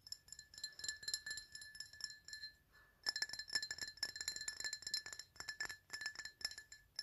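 A glass item is tapped in quick, irregular runs of bright, clinking strikes that ring with high, bell-like tones around 1.7 kHz and above. After a short near-silent pause just before the 3-second mark, the tapping resumes faster and slightly louder. Each clink dies away almost at once.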